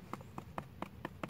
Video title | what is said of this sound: Crack Foundation repair Porch of minimal damaged surfaced material | you can tap it and there's sound hollow that's all the weak points